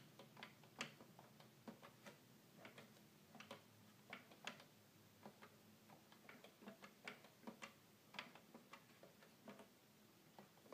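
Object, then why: Plastic toy keyboard keys. Fingertips tap the keys of a hollow red plastic toy keyboard in a quick, irregular string of light, dry clicks. Each tap is a short, bright plastic tick that dies away almost at once over a faint, steady low background tone. The overall level stays quiet.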